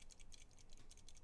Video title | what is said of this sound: Livestream - just building some Carbon Fiber mechanical keyboards | there's still a little bit of noise in there because I didn't paint these